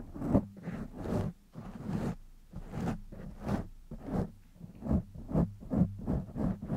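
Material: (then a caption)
Foam. Fingertips and short nails rapidly scratch the sides and top of a black foam windscreen on a silver condenser microphone. The result is a series of close, muffled bursts of scratchy rustling, heavy in low rumble with little brightness, rising and falling in quick repeated strokes.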